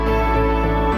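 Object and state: Nothing is struck.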